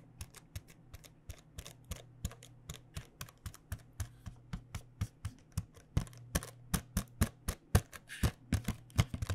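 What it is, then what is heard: Cardboard box of paint pens. Long painted nails tap the back and edges of a flat printed cardboard box filled with paint pens, making about forty short, dry clicks at an irregular pace over a steady low hum. The taps grow louder and sharper in the last few seconds.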